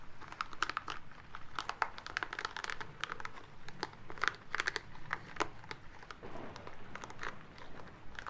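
A small green rubber massage ball covered in soft spikes is held in the hands and rubbed and squeezed with the fingertips and palms. It makes a steady, quiet stream of crinkly, crunchy rubbing with many short, sharp, bright clicks that stand out over a soft, low rustle.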